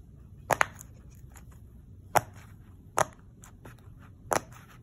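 Fingertips press and pop the hollow bubble domes of a round, hand-sized rainbow silicone pop-it fidget toy lying on a wood-look floor, possibly tapping them too, with other pop-it toys nearby left untouched. Five short, sharp pops ring out, the first two close together and the rest spaced apart, each a dry, bright snap that dies away almost instantly over a quiet background.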